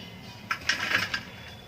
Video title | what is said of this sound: नवरात्रि व्रत में बनाएं सिर्फ दो चम्मच घी से हेल्दी और टेस्टी फलहारी थाली बस कुछ ही मिनटों में | इनकी आवाज से पता चल ही रहा है कि पकड़ बिल्कुल क्रिस्पी बन कर के तैयार हो गई हैं